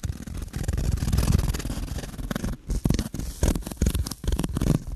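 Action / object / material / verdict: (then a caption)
scrape / foam block / foam / none. A solid, hand-sized, rectangular black speckled foam block is scratched with fingertips and nails. It makes a dense, rough, low-heavy scraping that runs steadily for about two and a half seconds. Then it breaks into short, separate scratching bursts with brief pauses between them.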